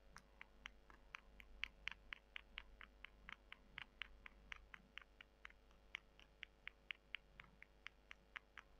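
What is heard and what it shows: Long fingernails scratch and rub two small, solid, dry brown soy chunks held between the fingers. About 35 short, crisp, bright scratchy clicks follow in a loose, uneven rhythm, each stopping almost instantly over a faint steady low hum.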